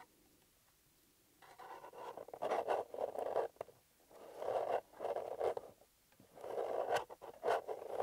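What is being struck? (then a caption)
Small paper-covered cardboard box. A small, hollow, empty blue paper-covered EMTEC cardboard box has its lid briefly lifted and closed, then fingertips and nails scratch and tap across the lid. After a near-silent opening, three bursts of dry, rasping scratching with quick taps follow, each swelling and fading. The sound is close and muffled, centred in the midrange with little low end and brief bright clicks.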